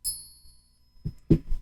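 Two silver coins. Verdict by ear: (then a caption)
Real. Two real silver coins are pinged together, giving a bright, high ring that sustains for most of a second before fading. A few dull, low knocks follow. The clear ring marks them as genuine silver.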